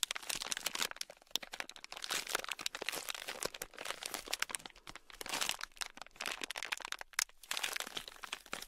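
Fingertips squeeze, press and knead a palm-sized, solid, soft red block of modeling clay packed with tiny polystyrene foam beads, held in both hands. It produces dense, bright, crunchy crackling and crinkling in rapid bursts, with almost no low end.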